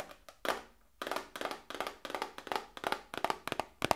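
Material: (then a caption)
Cardboard. A small, hollow cardboard medicine box, held in both hands, is tapped with long nails. It gives a quick, uneven series of dry, hollow clicks and taps with a papery ring around 860 Hz and bright edges. Each tap dies away almost instantly, with short pauses between clusters.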